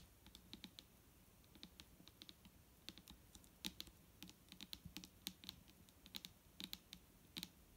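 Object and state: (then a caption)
Plastic bottle tapped with fingernails. Long nails tap quickly across the label and body of a large, clear plastic micellar water bottle full of liquid, resting on a table. The taps are quiet, bright, dry clicks with a soft low thump underneath, arriving in uneven bursts. Each one dies away almost instantly.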